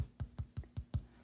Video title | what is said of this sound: Make Bread With Me! - Julia Tries It All | if you tap it and it sounds hollow, your bread is ready.